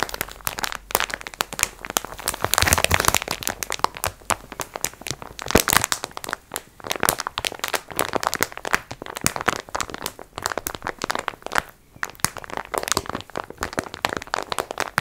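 Long nails scratch and crinkle the clear plastic wrap of a soft, filled multipack of sponge cloths held in both hands. The result is dense, bright crinkling and sharp little crackles with almost no low end, rising and falling in bursts over about 15 seconds.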